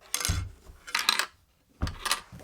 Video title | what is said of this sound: Are the NEW XBOX Series X Galaxy Limited Edition and All Digital Robot White WORTH IT? | just bouncing around in there